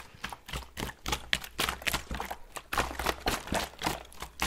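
A gloved hand shakes and tilts a clear plastic water bottle with a blue cap, partly filled with water, so the water sloshes inside. The result is a quick, uneven run of short, bright splashing bursts, about three to four per second, with a faint low rumble underneath.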